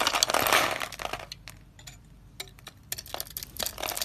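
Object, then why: Soap bar cut with a blade. A utility knife blade scrapes through a solid, hand-sized, bright green dry soap bar pre-scored in a grid, crunching off cubes. A dense, bright burst of gritty crunching opens the clip, then thins into sparse, sharp crackles and clicks before another cluster of crisp crunches near the end.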